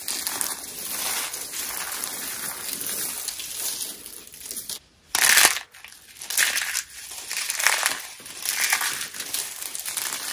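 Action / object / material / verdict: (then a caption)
scrape / soap shavings crushed by hand / soap / none. Handfuls of thin, dry, brittle white soap flakes are squeezed and crushed between both palms and short-nailed fingers over a bed of mixed-colour soap shavings. The result is a steady, bright, crunchy crackle with almost no low end. A brief near-silent pause around five seconds is followed by a loud burst of crunching and then more uneven crushing.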